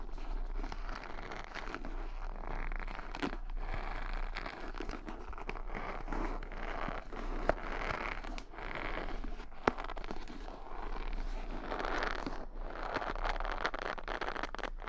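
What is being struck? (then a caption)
Wooden hair brush with bristles. Long nails flick and scratch across the padded bristle side of a wooden paddle hair brush held close to the microphone. The result is a steady, dense crackling and rustling scratch with a low underlying rumble, broken by a couple of sharper, louder clicks.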